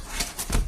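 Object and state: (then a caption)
Baked-through bread loaf (hollow). The bottom of a freshly baked homemade crusty wheat bread loaf is tapped three times, giving soft, hollow, low thuds with a brief papery crackle. The hollow sound means the loaf is perfectly baked through.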